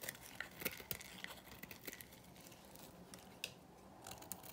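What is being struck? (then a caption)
Bar of soap shaved with a small metal blade. A small metal blade shaves flakes from the surface of a dry, solid white Korean bar soap held in the hand, cutting it in a dice pattern. The result is quiet, crisp, bright scraping and snapping clicks at an irregular pace, each ending almost instantly.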